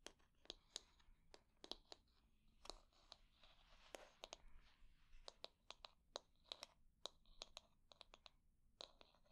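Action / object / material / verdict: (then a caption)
tap / wooden hair brush back / wood / none. Long nails tap and scratch the smooth back of a solid wooden hair brush. Sharp, bright, dry clicks come in an irregular stream, with soft, quiet scratching between them and almost no ring after each tap.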